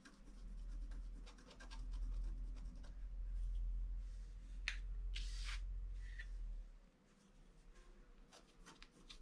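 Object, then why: Black-coated scratch-art card scratched with a wooden stylus. A wooden stylus scratches small details near a figure on a flat black-coated scratch-art card, making short, dry scraping strokes with a few brighter, hissy bursts. A steady low rumble sits underneath and drops away near the end, leaving the quieter, softer scratches.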